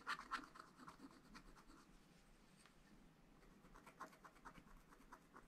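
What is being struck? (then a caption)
Coated scratch-art paper sheet scraped with a wooden stylus. A wooden stylus scratches fine strokes into a black coated scratch-art paper page in a spiral pad. Quiet, dry scratching comes in short bright bursts, louder at the start and again near the end, with a softer stretch in the middle.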